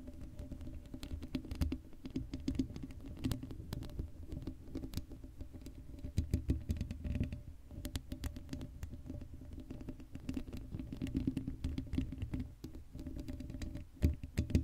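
Long acrylic nails scratch and tap the hollow black steel mesh grille of a Blue Yeti microphone with no cover on it. The result is a dense, soft patter of quick scratchy clicks over a heavy low rumble. The sound is mostly low and muffled, with brief bright ticks.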